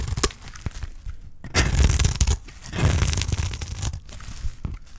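A utility knife blade scrapes and shaves thin strips off a solid bar of dry green soap. The cutting makes dry, crumbly rasping and tearing sounds with a low thud underneath, rising into two longer, louder shaving strokes in the middle of the clip.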